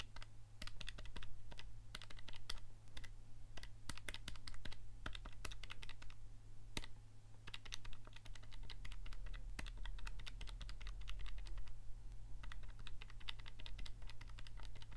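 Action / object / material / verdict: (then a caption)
tap / plastic scientific calculator keys / plastic / none. Several fingertips rapidly press and click the keys of a handheld black plastic scientific calculator with a hollow casing, held in one hand. The result is a dense stream of short, sharp, bright clicks with brief pauses, over a steady low hum.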